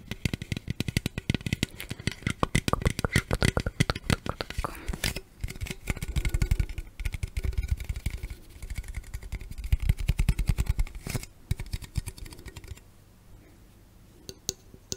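A hollow green Mountain Dew aluminum drink can, held in the hands close to the microphone, is tapped and scratched on its sides by long red acrylic nails. The result is dense, rapid, dry clicks and tinny scraping with a low, hollow body and very short ring. The sound thins out to sparse quiet taps near the end.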